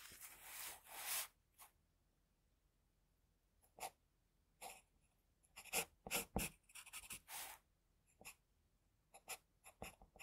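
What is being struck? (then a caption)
Pencil on drawing paper. A pencil tip scratches whisker and hair lines onto a flat sheet of drawing paper. Bright, hissy scratching comes in bursts: a longer stroke at the start, then a run of short, quick strokes separated by quiet pauses.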